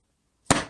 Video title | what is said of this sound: 메이저 베이스볼 오더글러브 검핑핑? 투톤 핑크가 이쁘다요~ | 지금 각각 둔탁한 소리가 나는데